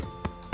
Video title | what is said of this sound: Bradley's Bakehouse - Bready For More? - Milk Bread Recipe | give the bottom a nice tap if it sounds Hollow you're good to go